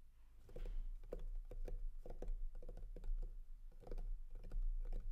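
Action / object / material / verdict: tap / clear plastic packaging case / plastic / none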